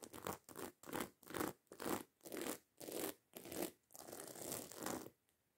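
Long acrylic nails scratch quickly across the rows of small metal studs on a hollow black fabric handbag. A series of short, raspy, bright scraping bursts with brief gaps between them ends in one longer continuous scratch, then fades to quiet.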